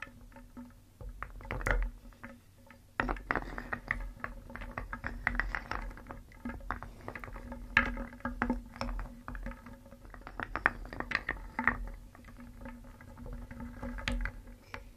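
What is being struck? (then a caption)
Small wooden cones and beads in a wooden bowl, stirred with a wooden spoon. A wooden spoon stirs small, solid, painted wooden cones and beads in a round wooden bowl. The pieces clatter and knock against each other and the bowl in quick, dry, short-ringing clicks over a low, steady background hum. A louder burst of stirring starts about three seconds in and continues throughout.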